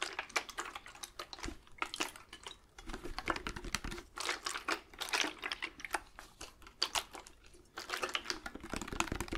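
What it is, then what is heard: Glass spray bottle. A hand-sized amber-brown glass spray bottle with a black trigger nozzle, partly filled with liquid, is held close to the microphone and tapped rapidly with fingertips and nails. The result is a dense stream of quick, dry, bright clicks and taps that fade almost instantly, coming in bursts separated by brief pauses.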